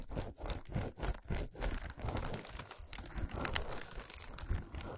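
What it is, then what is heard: Foil-wrapped chocolate bar. A flat, solid chocolate bar wrapped in shiny aluminum foil, resting on a towel, is scratched and tapped with long nails. The foil crinkles and crunches in quick, soft, close bursts with a low thud under bright crackle. Brief regular dips open the first half before the sound settles into denser, continuous crinkling.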